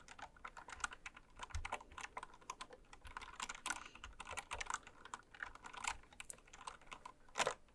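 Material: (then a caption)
Plastic. Slow typing with long red nails and fingertips on a full-size, white-cased Candy Series mechanical keyboard with pastel plastic keycaps, lying on fabric. An uneven stream of quick, bright plastic clacks and taps follows, each dying away almost instantly with little low end.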